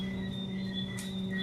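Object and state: Nothing is struck.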